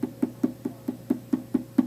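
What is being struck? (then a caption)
Leather-hard clay pot base. The bottom of a leather-hard clay pot is tapped nine times while it is being trimmed on a potter's wheel, to judge how thick the base still is. Each tap is a short, hollow, woody knock pitched around 250 Hz that dies away almost at once.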